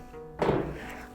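A single dull wooden thump comes from the wooden floorboards of an old house in Sewell, sounding from the wood itself rather than from anyone striking it. The low, hollow knock rises suddenly over quiet background music and fades within about a quarter second, leaving the music playing.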